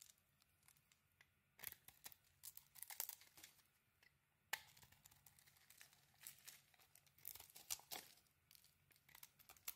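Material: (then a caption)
Soap. A solid pink bar of soap, mostly carved down to its pale core, is held in one hand while a thin metal blade scrapes across it and peels off flakes. The sound is quiet, crisp and bright, with irregular bursts of dry scraping and crinkly, tearing shaves separated by brief near-silent pauses.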